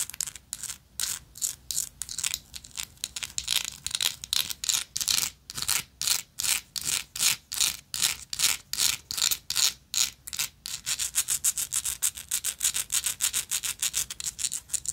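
Long nails rapidly scratch the textured surface of a gold metal lighter, making quick bursts of bright, dry rasping separated by short gaps. The strokes grow faster and shorter toward the end.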